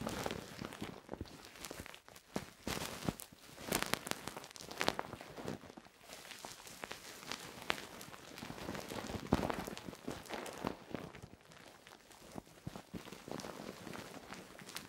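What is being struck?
Silicone microphone ear scratched with a wooden stick.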